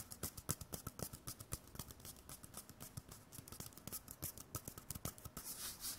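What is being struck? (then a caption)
Cardboard toilet paper tube. A small, hollow, empty white cardboard toilet paper core is held in the hand and tapped, rubbed and scratched with fingers and nails. Rapid, dry, hollow taps with almost no ring sit over a low body and a bright, papery scratching hiss. The clip ends in a smoother stretch of bright rubbing.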